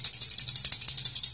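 A standard TN70 plastic lipless crankbait with multiple rattles inside is shaken, producing about 15 quick, bright, high-pitched rattling clicks. The loud, noisy clatter is typical of a lipless crankbait and higher-pitched than the single disc-rattle version.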